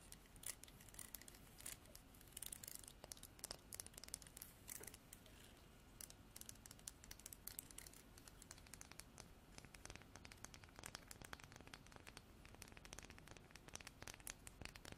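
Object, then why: Wooden comb. Artificial nails strum the teeth and tap the spine of a wooden comb with a bark-like edge. The result is a quiet, steady stream of rapid, crisp clicks and dry scratchy plucks, bright and high-pitched with no ringing.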